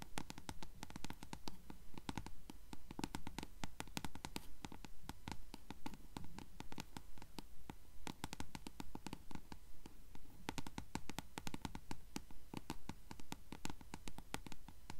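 Long fingernails scratch along the yellowed page edges of a closed paperback book held sideways. The result is a steady, fairly regular run of quick papery scratches and bright ticks over a low, soft rumble, lasting the whole clip.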